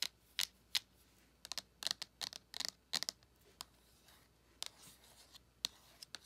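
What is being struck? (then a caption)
Small flat cardboard eyeshadow palette tapped with long acrylic nails. Long acrylic nails tap and scratch the front of a small, flat, closed cardboard eyeshadow palette with a printed surface, held in the hand. About fifteen quiet, bright, dry clicks come in an uneven rhythm, each dying almost instantly. Faint scratching fills the gaps between them.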